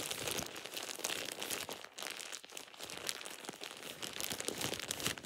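A thin, light-green plastic shower cap with an elastic edge is squeezed and crumpled with fingertips, making a steady run of bright, crackling crinkles. The sound is dense and airy with almost no low end, swelling and easing as the plastic is worked.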